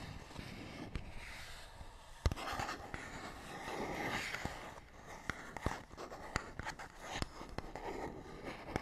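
A fingernail scratches across a small, hollow printed paperboard box with a barcode, making a soft, steady papery scraping. Sharp, brief clicks and ticks are scattered through the scratching, and the box gives the sound a dull, hollow body.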